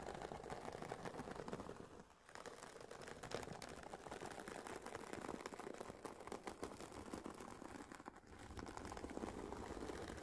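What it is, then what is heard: Fabric-covered headphone case, nail tapping and scratching. Long painted nails of both hands tap and scratch the woven nylon fabric of a hollow, oval, semi-rigid carry case for Sony WH-1000XM4 headphones lying flat. The result is a quiet, dense stream of rapid, dry, fabric-muffled taps and rustling scratches centered in the midrange, with brief lulls around the two- and eight-second marks.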